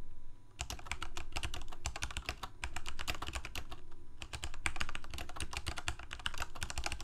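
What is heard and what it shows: Fingertips of both hands type continuously on a full-size black plastic Corsair K68 gaming keyboard with backlit keycaps, Cherry MX Red switches and a hollow plastic case. The result is a steady stream of rapid, bright key clacks over a low, hollow thump from the case. The typing starts after a brief quiet moment and pauses briefly just before the fourth second.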